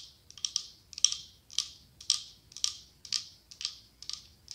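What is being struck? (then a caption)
Glass candle holder. Long acrylic nails tap and scratch the side of a medium cylindrical glass candle holder decorated with autumn leaves, with a white candle inside. Quick, bright clicks run into short hissing scrapes that repeat about once a second in an uneven rhythm. The sound is dry and high with no low end, and each scrape fades quickly.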